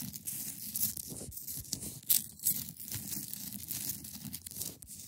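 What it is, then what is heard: Clear ice block. Long nails scratch and tap the top of a hand-sized solid block of clear ice resting on a fabric surface. A steady, bright, hissy scraping fills the clip, broken by a few sharper taps, with soft low thuds underneath.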